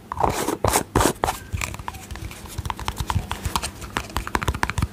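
Long fingernails tap and scratch a small round white plastic cosmetic tub with a yellow lid, working over both the lid and the body. It opens with a few loud, bright scratching strokes, then settles into a quick, uneven run of short, dry clicking taps with almost no ring.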